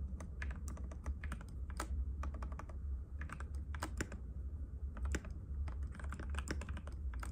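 Fingertips of both hands type rapidly and continuously on a compact cream-white mechanical keyboard with plastic keycaps and a hollow case, resting on a glass table. The result is a steady stream of short, sharp clacks with bright, quickly dying clicks over a constant low hum.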